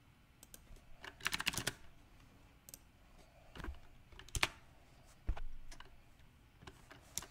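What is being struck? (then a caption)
Mechanical keyboard with round plastic keycaps. Fingertips type on a compact backlit mechanical keyboard with round plastic typewriter-style keycaps, with one hand briefly alone on the left keys. Irregular bursts of sharp, bright key clicks come in uneven clusters with gaps between them, including a fast flurry near the start and a few heavier isolated strikes later.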